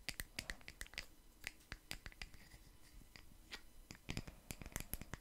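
A round solid wood slice coaster with visible growth rings and a bark rim, held in one hand, is tapped and scratched with long nails covered in paperclips. Quick, irregular, sharp clicks with bright metallic edges come in bursts, separated by soft scratching and very short ring. The overall level is quiet and close.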